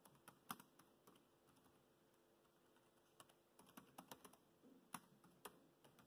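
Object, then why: Plastic laptop keyboard keys. Fingertips type on the black plastic chiclet keys of a dark grey laptop, producing about twenty quiet, short, clicky taps at an irregular pace. A lull in the middle separates two bursts of typing, and each tap dies away almost instantly with a bright, dry click.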